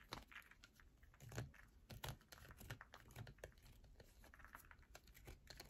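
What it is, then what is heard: Bar of soap. Long nails scratch and tap quickly across the grooved top of a solid yellow bar of soap. The result is a run of short, dry clicks and scrapes with bright crinkly edges over a soft low thump, each sound dying away almost at once.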